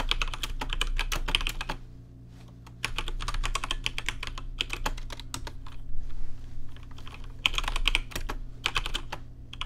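Fingertips type on a rainbow-lit plastic RGB mechanical keyboard with plastic keycaps, giving rapid bursts of sharp, bright clicks that stop dead with no ring. The typing comes in quick runs separated by short pauses, the longest near two seconds in. A steady low hum sits underneath throughout.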